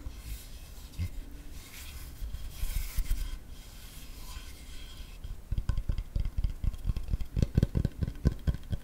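A large, flat, solid wooden cutting board with a handle is held at an angle over the microphone and rubbed with fingertips and nails, giving a soft, airy scraping and brushing texture for about five seconds. It then switches to a quick run of dull, low, woody taps that stop short with almost no ring.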